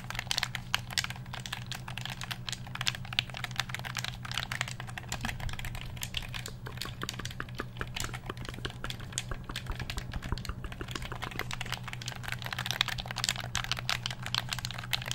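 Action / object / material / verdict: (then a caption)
tap / hollow plastic game controller / plastic / none. A black hollow plastic game controller, held close to the microphone, has its buttons and sticks clicked and tapped with the fingertips. Rapid, dry, bright plastic clicks and taps run continuously for about fifteen seconds over a steady low hum.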